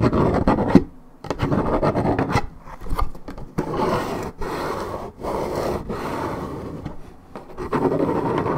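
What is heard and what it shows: Long red nails scratch deeply across the surface of a hollow Minute Maid 1.75 L coated paperboard orange juice carton of unknown fill. Dull, raspy scratching strokes run in sustained bursts, mostly in the low and middle range, separated by brief pauses.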